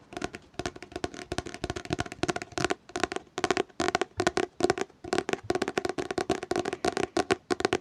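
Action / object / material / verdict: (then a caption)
tap / hardcover book / cardboard and paper / none. Fingers tap on a hardcover book in a fast, dense run of short, dry, hollow knocks that cluster in quick bursts with brief pauses between. Each tap dies almost instantly, with a woody mid-range tone near 360 Hz and little low rumble.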